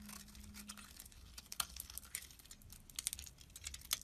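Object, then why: Bar of soap scraped with a metal blade. A metal blade scrapes and slices surface chunks off a solid oval orange soap bar held in the hand. The sound is a quiet, bright, crisp crackling and scratching with quick sharp clicks scattered throughout, plus a faint low hum near the start.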